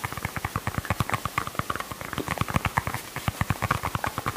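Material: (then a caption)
Plastic. A small, glossy, pink, hollow plastic toy ball held in the hands is tapped with fingernails and fingertips. About thirty quick, light taps each give a short, dull knock with a faint bright click on top. The taps do not ring on, over a soft steady hiss.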